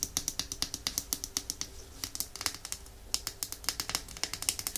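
Long nails tap rapidly on the glass body of a small, full red glass nail polish bottle, making about 34 short, bright clicks that die away almost instantly. The taps come in quick bursts with brief pauses between them.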